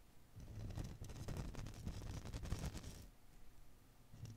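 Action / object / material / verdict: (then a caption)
scrape / rubber filament ball / rubber / none. A fist-sized blue and green Koosh ball, made of many soft rubber filaments around a soft core, is held in one hand and squeezed and rubbed with the fingertips, kept clear of the microphone grille. It makes a dense, irregular soft rustling and rubbery swishing with a muffled low thump underneath. The rustle stays busy for about three seconds, then quiets to a faint brush before a brief final swell.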